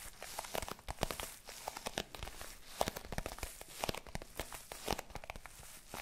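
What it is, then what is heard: Faux leather zip case, scratched and tapped. A small, hollow, rectangular black zippered hard-shell case with a faux leather covering is held up in both hands and scratched and tapped across its surface with long pink nails. Quiet, dry, crackly scratching runs throughout, broken by quick, sharp taps that die away instantly with a faint hollow knock in the midrange.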